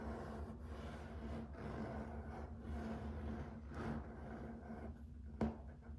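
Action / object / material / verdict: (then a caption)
scrape / wood-look laminate floor / laminate / none. Fingertips and short nails scratch and rub along the grain of a solid, flat grey-and-white wood-grain laminate plank floor. A soft, steady scratching hiss runs over a low hum, with one sharp tap near the end.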